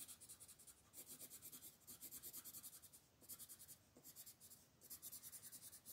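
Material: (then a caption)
Paper. A green wooden colored pencil makes rapid scratching strokes at the top of a flat paper coloring book page while a hand with long nails holds the page down. The quiet, bright, papery scratching comes in quick rhythmic bursts, with brief pauses around three and five seconds.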